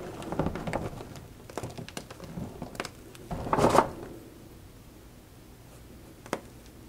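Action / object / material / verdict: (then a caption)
scrape / gym chalk chunks (magnesium carbonate) crumbled by hand / gym chalk / none. Both hands squeeze, crumble and rub a pile of broken white gym chalk chunks (magnesium carbonate), solid and crumbly, on a white cloth, with a few small pink and orange wrapper flecks mixed in. Dry, gritty crunches and crumbling clicks fill the first few seconds, rising to a louder burst of crushing around the middle. Then it falls quiet apart from one sharp snap near the end.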